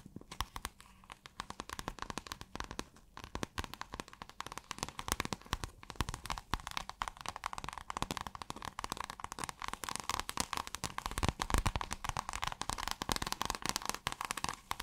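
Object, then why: Scale-textured plastic fabric. Long fingernails scratch and tap on a flexible piece of shiny light-blue fabric with a plastic-like scale texture, held in the hands. A dense, steady stream of crisp clicks and crinkly scratching runs throughout, with a faint low rumble underneath.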